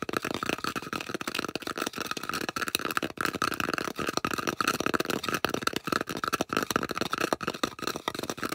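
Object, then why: Polystyrene foam disc. Long acrylic nails rapidly scratch and tap the flat face of a solid, round white polystyrene foam disc held in both hands. The result is a dense stream of quick, dry taps and scrapes with a squeaky foam tone around 1.3 kHz and bright, hissy texture above.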